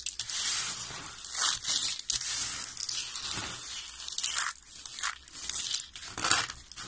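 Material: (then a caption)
Soap. Fingertips with short nails press, crush and rub a pile of thin, brittle green dry soap shavings on a white surface. The result is a dry, bright crackling crunch that comes in uneven bursts, with almost no low end.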